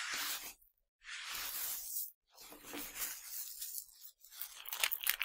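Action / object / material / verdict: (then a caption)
scrape / pile of tiny hard sugar candies / hard candy / none. Fingertips with dark-painted nails rub and sweep through a pile of tiny hard, colorful Nerds sugar candies on a black surface, scooping them up and letting them trickle. The result is a bright, dry, gritty rustle and crunch, heard as four bursts separated by brief near-silences, with the last burst crackling most sharply.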